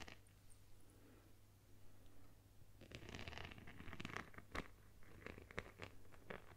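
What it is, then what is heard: Beaded plastic phone case. Long nails scratch a phone-sized plastic phone case covered with small multicolored beads or sequins. A low steady hum sits under faint rasping for the first few seconds. Then denser, bright scratchy clicks and rattling scrapes come in quick bursts.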